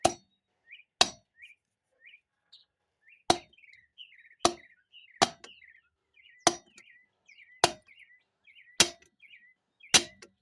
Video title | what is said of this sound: Part 2.Overhaul low and reverse piston and install parking paw 4L60E | Can hear that solid metallic sound. means it's in.